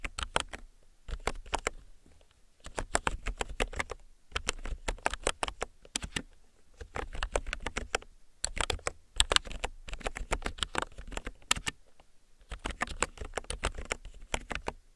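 Fingertips with short nails type on a mechanical keyboard with yellow plastic keycaps, tapping the keys repeatedly. Bursts of quick, clacky keystrokes, each sharp and very short with a bright click over a low thud, are separated by brief pauses.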